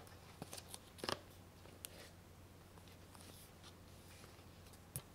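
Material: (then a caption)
Plastic. A small hollow plastic DVD case held upright in one hand has its back cover scratched and tapped by a thin twisted plastic stick, with some fingernail contact too. Quiet, dry clicks and taps stand out against a soft scratchy rustle and a low steady hum, with a sharp cluster near the one-second mark and a final tap at the end.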